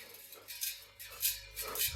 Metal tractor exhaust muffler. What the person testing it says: you hear that loose stuff? that means that it's starting to degrade inside